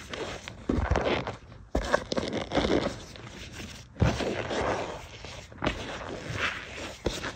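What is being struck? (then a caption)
Loose cornstarch powder bed. A bare hand and fingertips press and rub a flat, loose bed of white cornstarch powder in a tray. The powder gives squeaky, crunchy scraping in several bursts as it compacts under the fingers.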